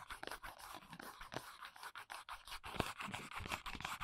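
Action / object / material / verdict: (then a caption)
scrape / small paperboard box / paperboard / none. Long fingernails scratch and tap the printed back panel of a small, hollow paperboard press-on nail box, recorded close-up. The result is a quiet, rapid series of dry, papery scrapes and light taps with short hollow knocks and almost no ring.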